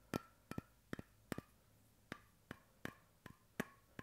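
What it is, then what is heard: Bamboo cap on a steel bottle. Fingertips and nails tap the flat end of a light bamboo screw cap on a stainless steel water bottle, held close. The result is a series of short, dry, woody clicks, some in quick pairs and some single, with a low hollow body and a faint ringing tone just above 1 kHz. Each tap dies away almost at once.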